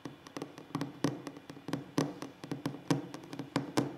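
Fingers tap and knock on a wooden table in an ASMR session, making about twenty short, dull, quiet raps at an irregular pace. Each hit dies away almost at once with little ring.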